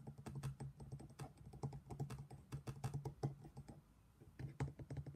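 A matching black stone pestle, held in the hand, knocks and grinds inside an empty, hollow, thick-walled black stone mortar. A rapid run of short, dry clicks and taps rides over a low hollow thud around 141 Hz. The clicks briefly thin out into quieter grinding before the knocking picks up again.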